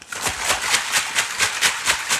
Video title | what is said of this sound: Today we are making pat mats for your baby! A nice easy .. - Kids | lovely sloshing noise